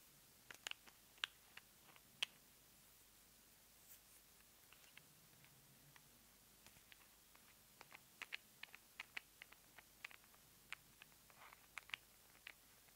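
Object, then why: Small plastic squeeze tube. Long nails tap and scratch a small white plastic cosmetic cream squeeze tube held in the hands. About two dozen quiet, bright, sharp clicks fall at irregular intervals over a faint hiss, each dying away instantly, with light scratching between them.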